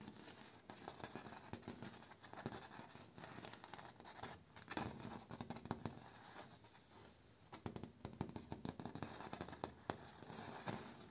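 Fingertips and short nails tap and scratch along a large, flat, mounted and solid-backed door panel made of vertical split bamboo slats with visible nodes. The result is a quiet, steady run of dry, clicky taps mixed with bright, papery scratching, each tap dying away almost instantly with no ring.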